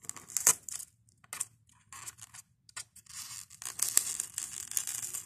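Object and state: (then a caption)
Polystyrene foam block being scratched. A white expanded polystyrene foam block is worked by fingertips and nails that scratch, squeeze and pluck foam beads from its crumbling edge. Dry, bright squeaks and crackling scrapes come in short bursts with quiet gaps, then grow into a denser, continuous crunching toward the end.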